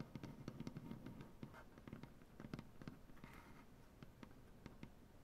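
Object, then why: Maple butcher-block tabletop. Both hands tap their nails across a large solid maple butcher-block tabletop in a rapid, uneven series of quiet taps. Each tap is a soft, low wooden knock with a faint bright click, dying away almost at once.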